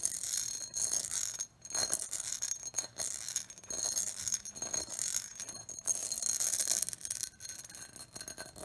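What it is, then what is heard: Pressed glass bowl. A medium, empty, clear pressed-glass bowl with a textured pattern is tapped and scratched by long acrylic nails along its outer wall and rim. The result is a dense run of quick, bright clicks and raspy scraping, almost all high in pitch with hardly any low end. The brief ticks barely ring before fading.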